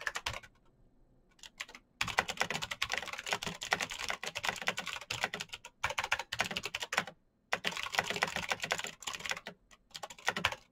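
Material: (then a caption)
Plastic. Fast fingertip typing on a black Razer BlackWidow mechanical keyboard with plastic keycaps on clicky green switches produces dense bursts of sharp, bright clicks. The bursts are broken by short pauses near the start and around the middle.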